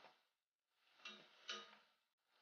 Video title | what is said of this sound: How to make Vetkoek and Curry Mince Part 1 of 2 | As I'm hitting it with a spoon, you can hear it sounds hollow.